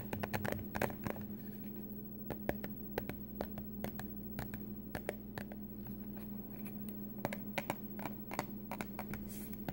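Long glitter-painted nails tap and scratch a small, hollow white cardboard product box whose contents are not visible. Quick, dry, clicky taps come in an uneven run over a soft scratchy rustle, each dying away almost instantly, with a steady low hum underneath throughout.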